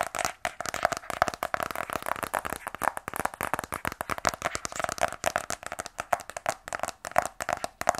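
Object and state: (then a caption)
Rigid cardboard phone box. A small, closed black rigid cardboard iPhone 12 Pro box, held in both hands, is tapped rapidly with fingernails. The result is a steady stream of short, dry clicks and ticks with a hollow tone around 700 Hz, bright edges and almost no low end.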